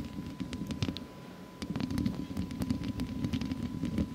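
Long acrylic nails scratch and tap a hollow metal wire-mesh microphone grille with both hands. A dense, low scraping rumble is scattered with sharp, bright clicks from the nail tips. A quieter pause comes just after the first second, then the scratching and tapping return in a steady, busy stream.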